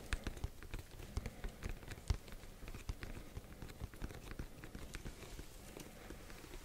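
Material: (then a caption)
Cardboard. A black printed cardboard Yeti microphone box, held up in both hands, is tapped rapidly with fingertips and nails. The result is a soft, continuous patter of dull, low thumps with light, bright clicks from the nails, each tap dying away almost instantly.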